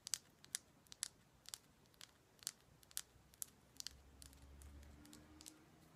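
Fingers tap on a heavy Himalayan salt rock lamp in a quick, uneven series of quiet, sharp taps. Each tap is a bright, dry click that stops almost instantly with no ring. A faint low hum rises in the background toward the end.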